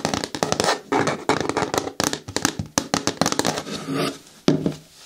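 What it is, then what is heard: Hard plastic lidded bin, hollow. Long nails tap rapidly along the side walls of an upright, hollow green hard plastic bucket with a lid. The result is a quick run of sharp, hollow clicks and knocks with a low plastic resonance and short ring. The taps come in uneven clusters with brief pauses between them.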